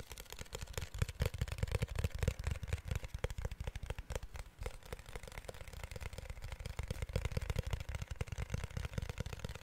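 A protective case made of glass is tapped rapidly and steadily with fingertips, producing a dense stream of short, dull, low-pitched taps with a faint bright clicky edge. Each tap dies away almost instantly, giving the glass case a distinct, softly knocking sound throughout.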